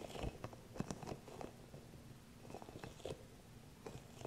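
Long nails and fingertips tap and scratch the soft spikes of a small green hollow rubber massage ball held in both hands close to the mic. The result is a quiet run of dull, close-up crackly taps and light scratching, with soft low thuds, little brightness and no ring after each touch.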